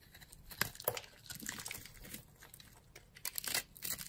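A yellow-handled blade cuts and scrapes a grid into the dry surface of a solid, palm-sized orange bar of soap held in a hand with long glittery nails. It makes a quick run of crisp, bright, crumbly scratches and crackles, with a few sharper cuts standing out, as crumbs fall off the bar.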